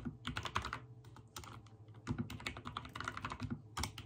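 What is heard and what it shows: Fingertips type rapidly on a backlit mechanical keyboard with white and teal plastic keycaps. Quick bursts of clacky key presses each land with a low thock and a bright click, with a short lull near the middle. Every stroke dies away almost at once.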